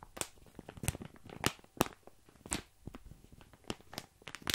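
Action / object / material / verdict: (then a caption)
scrape / plastic bag of small dry pasta / plastic / none. Fingertips scratch and press a full plastic bag of tiny dry pasta held up close to the microphone. The crinkly plastic gives quiet, dry crackling and rustling, broken by sharp, bright crunchy bursts as the pasta shifts inside. Each burst stops almost instantly.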